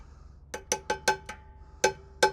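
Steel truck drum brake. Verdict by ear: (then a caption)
Released. A steel truck drum brake, after its brake adjuster is tightened fully and backed off a quarter turn, is tapped seven times, giving short, hollow, cowbell-like rings with a steady tone near 860 Hz and a bright top. The hollow ring shows the brake is released and not dragging.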